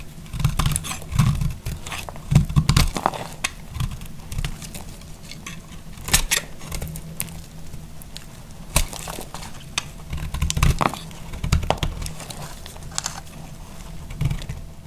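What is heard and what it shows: A solid, narrowing green bar of dry soap, held in the hand, is shaved with a utility knife blade. Many crunchy, dry scraping cuts come in quick bursts, each a short crackle with a bright edge over a low body.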